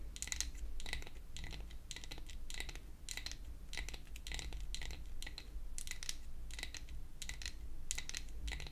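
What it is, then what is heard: Wooden toy hair dryer. A pink-painted wooden toy hair dryer, a solid flat piece of wood held upright, is tapped with long acrylic nail tips. Quick, bright clicky taps come in rapid clusters over a steady low hum, each tap dying away almost instantly.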